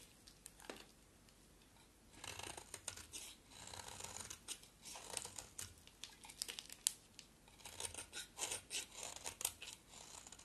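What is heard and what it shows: A box-cutter blade shaves a solid green bar of soap in repeated strokes. After a quiet opening, bursts of crisp, bright scraping and crackling come one after another, with sharp clicks where the blade catches. The sound is dry and thin, with almost no low end, and each stroke stops short with no ring.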